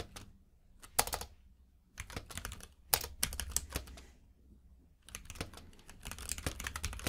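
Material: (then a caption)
Plastic. Fingertips type on a compact mechanical keyboard with plastic keycaps. Bursts of quick, bright clacks with a low thump underneath come in clusters separated by short quiet pauses, and each keystroke dies away almost instantly.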